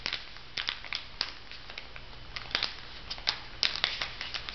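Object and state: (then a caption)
Plastic-wrapped sponge packet crinkled. A plastic-wrapped makeup sponge pack on a paper card is handled as fingertips rub and crinkle the plastic film, then the packet is lifted. Sharp, bright crackles come in uneven clusters over a faint low hum, with the loudest snaps near the end.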